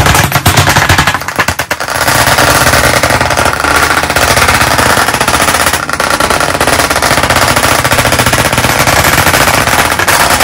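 White chalk sticks held in both hands tap rapidly on a solid, medium-sized flat black chalkboard panel set in a wooden frame. The result is a dense, continuous stream of sharp, bright clicks with a low knocking body, easing briefly near the start before continuing steadily to the end.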